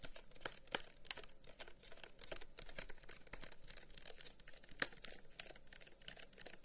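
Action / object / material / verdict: tap / carved wooden incense box / wood / none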